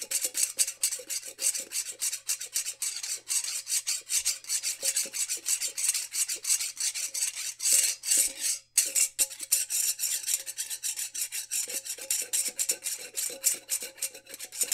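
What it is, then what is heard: Glass jar with metal lid, scratched. Fingertips and nails rapidly scratch the ridged metal band of the screw lid on a small, apparently empty glass mason jar. The result is a dense, fast, raspy scratching that is bright and hissy, with a brief silent break just before the ninth second. A faint steady tone sits underneath throughout.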